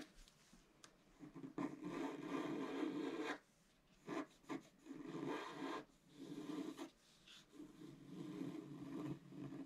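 A wooden stylus scratches a flat scratch-art card of black coated paper, etching an antler in a few sparse strokes. Each stroke is a dry, raspy scrape with a low, rough body around 300 Hz and bright hiss, separated by short pauses of near silence.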